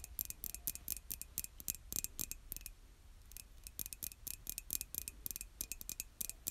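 Long acrylic nails tap rapidly on the outer wall of a hollow white glazed ceramic coffee mug held by its handle, producing 31 short, bright clicks with almost no ring. The taps come in quick bursts with a brief pause in the middle, over a faint low hum and a thin steady tone near 2.5 kHz.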